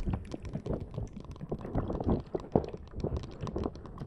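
A fist-sized green soft rubber or silicone puffer ball covered in long tentacle spikes is held in both hands just above a Zoom recorder and scratched and squeezed with long dark-blue painted nails and fingertips. It makes a dense, steady run of quick, soft, low-heavy scratches, taps and squishy rustles, each dying away almost at once.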